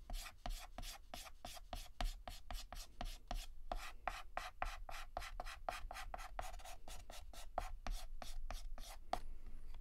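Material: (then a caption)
Chalk. Fingertips hold a yellow chalk stick and shade a petal on a flat, solid black chalkboard with rapid, short scratches. A steady run of quick, dry, bright rasping strokes, each with a faint mid-range tone, plays over a low background hum.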